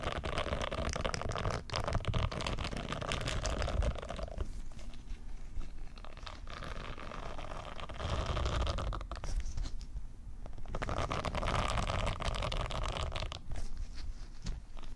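A round white silicone scrubber pad with a hanging loop is held away from the microphones while its bristles are scratched and flicked with long nails. The result is a steady, dense crackle of soft scratches and small taps, heavy in low rumble, with brief quieter dips.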